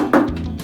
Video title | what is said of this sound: Nova Wagon wheel tubs. Part 8 | Actually, it's solid now. No tinny sound, no nothing. Sounds like a drum.